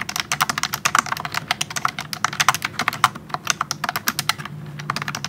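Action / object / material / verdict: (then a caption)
tap / plastic wireless keyboard with round keycaps / plastic / none. Fingertips type a speed test on a pink plastic wireless keyboard with round keycaps. The result is a fast, steady run of short, sharp clicky keystrokes, bright and quick to decay, with a faint low hum underneath.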